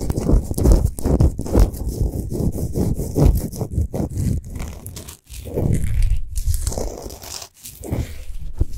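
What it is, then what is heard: Himalayan salt globe lamp. Long nails of both hands scratch fast across a large, solid Himalayan salt sphere lamp that is lit from inside. The result is a dense, rapid, uneven rasping with a heavy low rumble under a bright, gritty hiss. It pauses briefly just after five seconds and again around seven and a half seconds.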